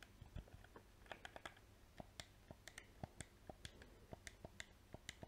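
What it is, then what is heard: Plastic game controller buttons clicked. A small, hollow black PS4 plastic game controller has its buttons and triggers clicked with painted fingernails and fingertips. About 22 short, crisp plastic clicks and taps come in an irregular stream, each with a low thump and a bright tick that stops almost at once. The clicking is quiet and dry, and the spacing is uneven throughout.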